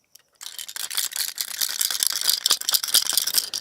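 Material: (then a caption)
Plastic. A plastic fishing lure with rattles inside, meant to imitate sick and flying fish, is shaken. After a brief near-silence, a fast, uneven, bright clicking rattle runs continuously for about three seconds.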